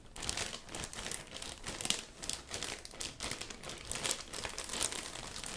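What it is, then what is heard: Plastic zip bag with rubber gloves inside. A medium-sized, clear, thin plastic zip bag holding pink rubber gloves is pressed flat with the palm, then squeezed and crumpled with the fingertips. It gives a steady run of bright, dense crinkling with many quick, overlapping crackles and little low-end weight.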